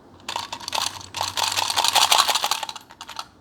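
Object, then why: Small container with loose contents. A small container with something hidden inside is shaken so children can hear the rattle and guess what it holds. Bright, clicky rattling comes in quick, irregular bursts across about three seconds, with short pauses between shakes. The contents stay unknown.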